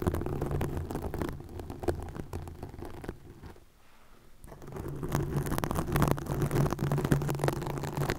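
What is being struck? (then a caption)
Plastic mesh net. Long nails scratch a green plastic mesh net stretched over a microphone, producing dense, rustling scrapes heavy in the low end with a steady low hum underneath. The scratching thins out and goes quiet for about a second near the middle, then returns fuller and slightly louder to the end.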